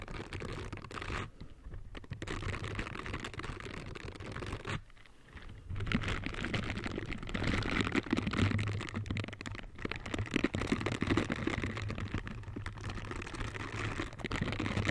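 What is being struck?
Silicone bristle scrubber gloves.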